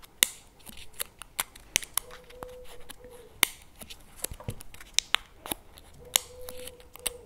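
A CremaNovi paperboard chocolate spread tub with a plastic lid, held tilted in both hands, is tapped and scratched with fingernails on the lid and rim. Sharp, dry, bright clicks and scratchy rasps come in uneven bursts, with a faint steady mid-range tone running beneath parts of the clip.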